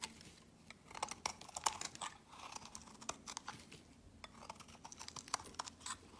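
A utility blade scrapes and shaves flakes off the edge of a solid peach soap bar held in the hand, dropping them onto a pile of shavings. Soft, dry crunching strokes and bright, crisp scrapes follow each other irregularly over a quiet background, each stroke short with almost no ring.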